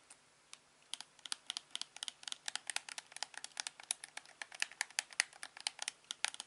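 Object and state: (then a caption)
Plastic TV remote control, buttons clicking. A thumb presses the buttons and scroll wheel of a hand-sized, hollow, black plastic LG TV remote. The result is a quiet, rapid run of about three dozen sharp, bright plastic clicks, each dying away almost instantly.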